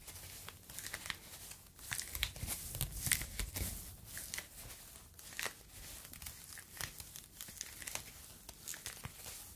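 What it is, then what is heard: Foam fruit protective net. A yellow foam fruit protective net, a mesh sleeve, is stretched and crumpled with fingers close to the microphone. A steady run of bright, crinkly crackles and soft tearing-like rustles is heard, with a low rumble beneath, swelling louder around the second to fourth seconds.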